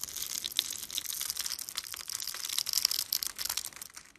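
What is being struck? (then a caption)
Bar of soap cut with a blade. A blade scrapes and carves crumbly cubes off the grid-cut top of a solid blue-and-white striped bar of soap held in the hand. The result is a continuous, bright, crackling crunch with sharp little snaps throughout and almost no low end.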